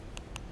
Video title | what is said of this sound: LG G3S Review - Smaller Might Just be Better | if you give it a click, there's no doubt that it sounds like plastic, and it is plastic.